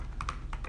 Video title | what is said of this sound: Kaby Lake Macbook Pro VS 4 Windows Laptops, Way Slower | the sound is like this hollow plastic tapping